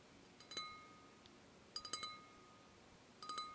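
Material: Glass.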